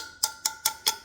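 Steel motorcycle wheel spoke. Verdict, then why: Tight. A screwdriver handle taps the steel spokes of a Harley Sportster wheel five times, each strike giving a short, clear, bright ring with a steady tone near 880 Hz. The clear ring shows the spokes are tight in this old-school spoke tension check, since a loose spoke would sound dull.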